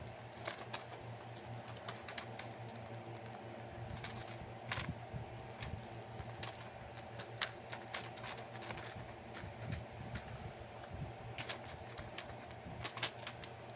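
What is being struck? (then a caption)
Plastic and foil blister pack. A palm-sized pill blister pack, with clear plastic bubbles over a foil backing and full of small round tablets, is held in both hands and tapped and scratched with long painted fingernails. Quick, light, crisp clicks and taps patter irregularly over a quiet, steady low hum, each tap dying away almost at once.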